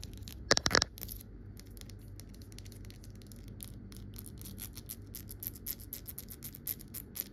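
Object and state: Glass bottle tapped and scratched with fingernails.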